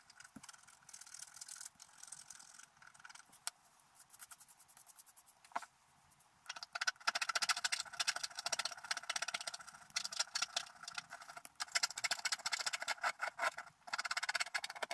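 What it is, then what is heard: Wax-coated scratch-art card. A wooden stylus scratches fine lines into the black wax coating of a flat scratch-art card lying on a table while the other hand steadies the card. Quick, dry, bright scratching strokes come in soft, sparse bursts at first, then grow louder and denser from about halfway through. There is almost no low end and each stroke stops dead.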